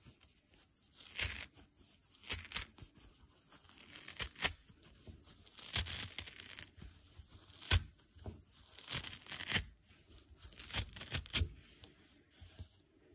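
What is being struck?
Nylon scouring pad.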